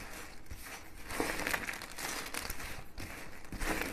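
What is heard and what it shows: Thin, dry mint green soap shards on a cutting mat are crumbled between fingers and stirred by hand. The result is a steady, dry crinkling crunch with brittle, bright crackles that swell in a few louder bursts.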